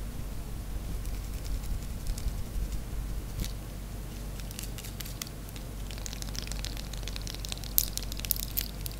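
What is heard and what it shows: A small, worn-down pink bar of solid soap, held in the hands, is scratched quickly with long white and gold nails, scattering shavings onto a tray. Fast, irregular, bright scratchy crackles and soft crunches rise over a steady low hum, growing denser and sharper toward the end.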